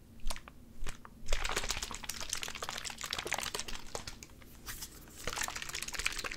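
A small, hollow, clear plastic Gatorade squeeze bottle with an orange G cap is tapped and crunched rapidly with fingertips and nails close to the mic. A few separate taps open the clip, then a dense flurry of bright, crackly clicks and crinkling crunches follows, easing briefly before picking up again near the end.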